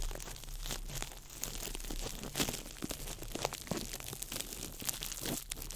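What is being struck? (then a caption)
Small ball of clear plastic wrap. A small ball of crumpled clear plastic wrap is crinkled by fingertips over the microphone. The result is a continuous, dense crackling of sharp, bright snaps and rustles spread across the full range, with a steady low rumble underneath throughout.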